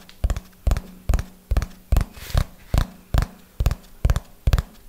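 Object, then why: Hardcover notebook. Fingernails tap on the cover of a small red hardcover book held upright, making a slow, steady rhythm of short, dull taps, often in quick pairs. Each tap is low and thuddy with a faint bright click, and it stops almost instantly with quiet gaps between bursts.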